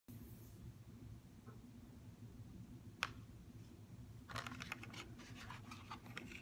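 A CoverGirl mascara blister package, a clear plastic shell over a cardboard backing with the mascara inside, starts lying flat and is then set upright as long fingernails tap on it. A single sharp, bright click stands out near the middle, followed by a quick run of light plastic taps and scratches toward the end, all over a steady low hum.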